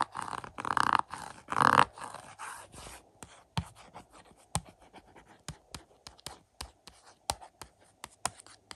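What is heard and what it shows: Fingertips scratch and tap the front of a *Family Plot* 4K UHD Blu-ray case, a hollow plastic case with a glossy cardboard slipcover, resting on a carpet. For about three seconds there are soft, dry, swelling scratching strokes, then a string of quick, clicky, separated taps with almost no ring. The result is a quiet, papery, close-up texture of scratches and taps.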